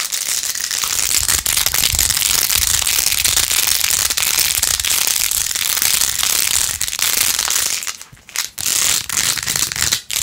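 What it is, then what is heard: Plastic phone case with pearl beads. Long acrylic nails rapidly scratch and tap the rows of pink plastic pearl beads glued onto a handheld plastic phone case with rose-gold edges. The result is a dense, continuous, bright crackling and clicking that is almost all high-pitched, with only brief dips near the end.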